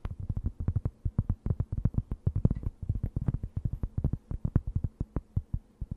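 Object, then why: Thin round cork board. A thin, round, solid and flat cork board held close to the mic is scratched and tapped with long nails. Rapid, closely spaced taps make dull, deep, muffled thuds with almost no ring and very little high end, under a soft scratching texture.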